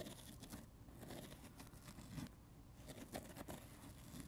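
Fingertips tap and scratch the red foam surface of a dry, solid, palm-sized watermelon-slice foam sponge. The sound is a quiet, muffled, low-weighted patter of soft taps mixed with crinkly scratching, with a few slightly sharper taps standing out near the end.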